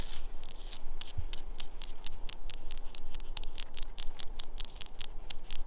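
Long nails scratch and tap the rough surface of a large, solid grey granite boulder covered in patches of lichen and moss outdoors. A rapid, irregular run of short, crisp, bright ticks and scrapes plays over a steady low rumble.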